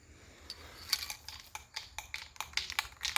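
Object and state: Spray paint can with rattling mixing ball.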